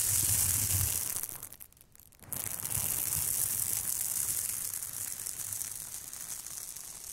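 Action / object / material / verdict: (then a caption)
scrape / aluminium foil thermal insulation bag scratched with plastic scalp massagers / aluminium foil / none. Two plastic scalp massagers are scratched across the surface of a large, flat, crinkly silver aluminium foil thermal insulation bag. The result is a steady, bright crinkling scratch with a low rumble underneath. The sound dips to near quiet for a moment partway through, then resumes at full strength and fades slightly toward the end.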